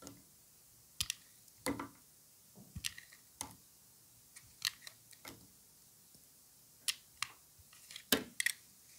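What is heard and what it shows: A solid white bar of dry soap, held in orange-gloved hands, is sliced and shaved with a utility knife blade. Each cut makes a short, crisp, bright crunch or scrape, separated by near silence. By the end, the bar has broken into pieces.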